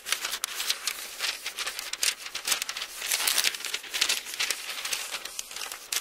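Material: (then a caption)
Paper. The thin paper pages of an open Bible, held in two hands, are flipped and rubbed between the fingertips. A steady stream of crisp, bright rustling and crinkling fills the clip, with quick papery flutters and no low-end weight.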